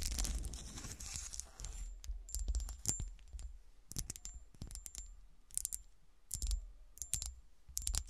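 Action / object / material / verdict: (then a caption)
tap / small cut-glass shoe figurine / glass / none. A small solid cut-glass golf shoe ornament sits on a table, first upright and then on its side, while long black nails scratch and tap its textured glass. Bursts of dry scratching alternate with quick, bright glassy taps that ring with a faint high ping and die away almost at once.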